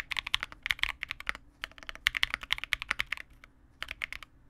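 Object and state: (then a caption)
Plastic mechanical keyboard. A Vega65 65% mechanical keyboard with re-lubed Cobalt switches, white plastic keycaps and a dark case is typed on continuously with the fingertips of both hands. The keystrokes are short, bright clacks with almost no low end, forming quick irregular bursts with a brief lull near the end before typing resumes.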